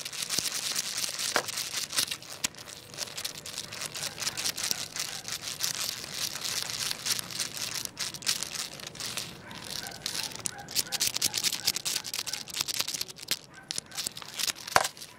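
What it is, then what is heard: Wooden segmented crocodile toy. A hand holds the head of a long, jointed wooden crocodile wiggle toy with solid segments on a tile floor, wiggling and lifting it so the segments clatter against each other. The result is a dense, steady stream of rapid, dry, bright wooden clicks and rattles with almost no low end, each tick dying away instantly.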